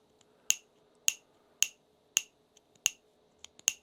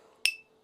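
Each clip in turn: First: dull carbon-fibre PETG printed part. Second: ringing carbon-fiber composite turbine wheel.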